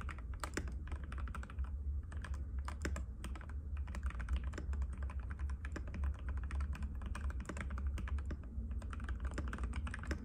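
Both hands' fingertips type continuously on a compact cream-white mechanical keyboard with plastic keycaps and a hollow case, resting on a glass table. Rapid, dense clicky taps with short, bright transients run for the whole clip over a steady low hum.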